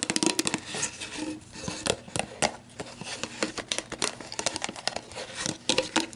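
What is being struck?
Plastic drink bottle.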